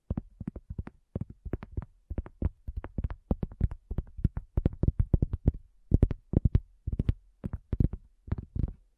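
A round, flat, solid cork coaster lying on a black table is tapped and drummed with the long nails and fingertips of both hands, with the recorder resting on its edge. Quick runs of short, dull, low thuds come in rhythmic bursts with brief pauses between them, each dying away almost instantly. Some sharper, brighter nail clicks sit on top of the thuds.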